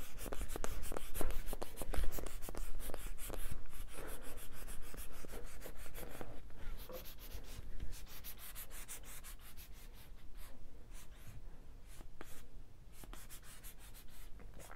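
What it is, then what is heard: Foam squishy ball. A small, solid orange-yellow foam squishy ball, held up in the hand, is rubbed and scratched with the fingertips. The result is a dry, crackly scraping made of quick, irregular bursts over a low rumble. The sound is loudest in the first few seconds and then settles into softer, sparser scratches.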